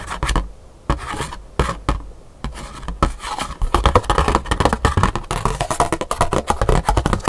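A thin black scratch-art paper card is held up in the hands while long pink nails tap and scratch it quickly. A few separate dry taps and short scrapes come first, then from about three and a half seconds the nails break into fast, dense tapping and scratching. The short clicks are dull, with little ring.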